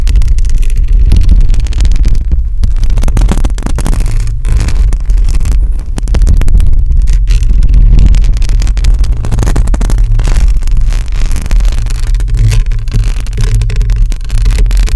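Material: Metal mesh.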